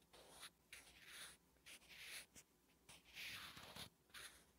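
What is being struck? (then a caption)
Graphite pencil on a paper notebook page. A wooden graphite pencil writes Korean letters on a flat, solid lined paper notebook page. It makes six quiet, bright scratching strokes separated by short pauses.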